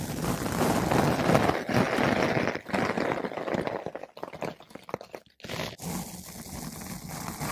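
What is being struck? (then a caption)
Foam microphone windscreen. A flat paintbrush with blue synthetic bristles brushes over a large, soft, porous yellow-pink foam ball windscreen fitted on a microphone. The result is a dense, close, rustling scrape with a low rumble, continuous for the first four seconds. It then breaks into short choppy strokes with brief silent gaps before resuming as a quieter, steady brushing.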